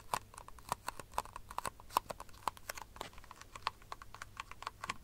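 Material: Plastic.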